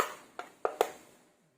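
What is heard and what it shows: Four short, dull taps, mid-pitched near 450 Hz, each fading within a fraction of a second with no ringing tail. That clicky, firm knock points to a hard, rigid plastic battery housing on a cordless impact wrench. The room is quiet.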